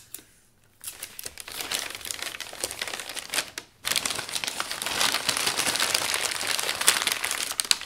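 Hands wearing rings fold and flatten thin, creased sheets of brown kraft packing paper over a flat object. The result is dense, bright crinkling and rustling, starting after a brief quiet moment, pausing briefly just before the fourth second, then resuming louder and fuller.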